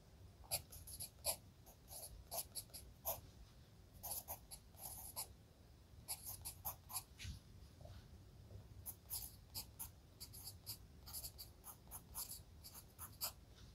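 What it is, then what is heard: Pencil writing on a paper notebook page. A red wooden graphite pencil writes steadily across an open spiral-bound lined paper notebook lying flat. Its tip scratches over the paper in quick, bright, dry strokes over a low, steady background hum. Short bursts and pauses follow the rhythm of the handwriting.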